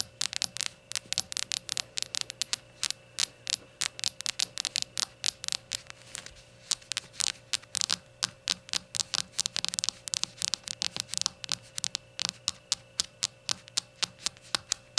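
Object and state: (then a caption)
Ceramic shot glass. Long gold nails tap and scratch a small glazed ceramic rainbow shot glass lying on its side, then turned with its white unglazed base facing forward. Dozens of quick, bright, sharp clicks with almost no ring come in an uneven stream, with gritty scratching between them. A faint steady hum runs underneath.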